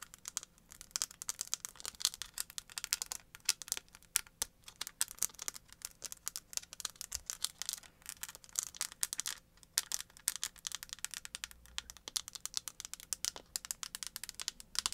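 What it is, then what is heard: Cardboard eyeshadow palette. Long acrylic nails tap rapidly across a small, flat, chocolate-bar shaped cardboard eyeshadow palette with an embossed front. The result is a dense, quiet stream of crisp, bright clicks and scratchy taps with almost no low end and no ring after each hit.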